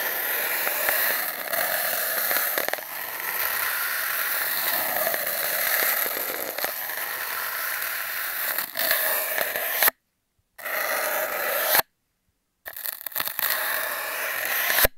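A grey foam sponge with a blue scouring layer is pressed and rubbed by hand over an empty, hollow cardboard toilet-paper tube that is taped down. The result is a continuous rough, scratchy rubbing with a crackly, bright hiss and a faint hollow tone. It breaks off into two short silences near the end.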